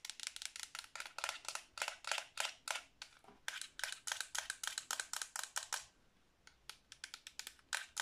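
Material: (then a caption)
Plastic. Long blue nails tap rapidly on the face and colored buttons of a black Xbox 360 controller made of hollow hard plastic. About forty bright, short clicks come in quick uneven bursts, with a brief pause near the six-second mark before the tapping resumes.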